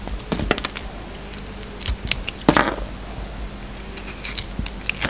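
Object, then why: Bar of soap cut with a knife blade. A yellow utility knife blade carves and peels pieces off a hand-sized solid white soap bar with a black sparkly outer coating. Crisp, dry cutting clicks and short scraping crackles come in irregular bursts, with bright edges that die away quickly. A faint steady low hum runs underneath.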